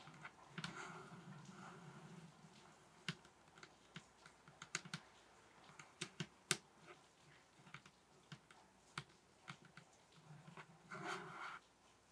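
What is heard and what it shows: Fingers tap on a table top, giving soft, mostly bassy tapping with a low thump around 160 Hz. About fifteen short, sharp taps stand out, with no ring after each one, between gentler stretches of brushing and rubbing near the start and end.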